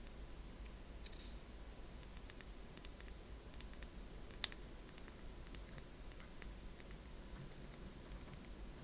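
Long manicured nails tap and click on a small, capped amber glass bottle with a paper label, held in both hands. Faint, sharp, high clicks with almost no ring sound irregularly over a low, steady background hum, with one brighter tap near the middle.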